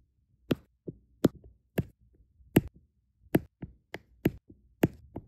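Small solid resin rhinestone drills are tapped onto an adhesive diamond painting canvas with a plastic drill pen tip. A series of light, sharp clicks and taps comes at an uneven, unhurried pace, each very short with almost no ring. Some taps are brighter and louder, and softer ones fall in between.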